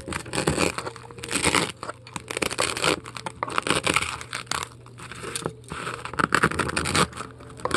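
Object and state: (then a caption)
Styrofoam ball being scraped. A metal scoop scrapes and gouges foam out of a large, heavily carved polystyrene foam ball. Loud, bright, crunchy bursts of squeaking and crumbling come in quick uneven strokes, with short quieter gaps over a faint low hum.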